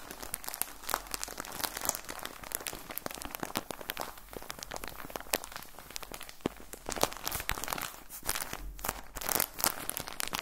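Hands squeeze and crinkle a clear plastic bag with orange print, full of cotton balls. Dense, rapid crackling and crinkling runs throughout, with sharp bright snaps over a soft, muffled body and a few louder bursts near the end.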